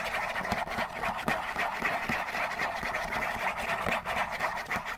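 Fingernails scratch quickly along the sides of a hollow Kleenex tissue box made of printed cardboard. The result is a steady, dry, papery rasping with fast, uneven strokes, concentrated in the midrange with some bright edge and little low end.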